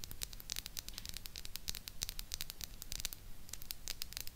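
Long pink nails from both hands tap and scratch the sides of the hollow grille head on a small silver, chrome-plated plastic mini retro microphone. A dense run of quick, dry, bright clicks and crackling scratches fills the clip, each one stopping almost instantly. A faint low rumble sits underneath throughout.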